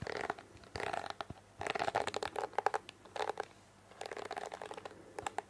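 Long fingernails scratch and flick across the plastic bristles of a pink plastic hairbrush held close to a microphone. Bursts of crisp, dry clicking and scratchy crunching, centered in the midrange around 800 Hz with some bright edges, alternate with brief quieter pauses.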